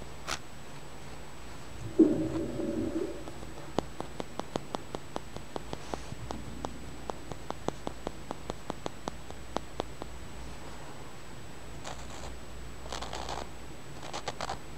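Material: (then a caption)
Stone. A small, flat, solid, milky-white translucent polished stone is held between the fingers while fingernails tap and scratch along its surface and edge. A short rubbing scrape with a low tone comes first, then a steady run of sharp, dry, quickly fading clicks. Brief bright scratching bursts follow near the end over a quiet low hum.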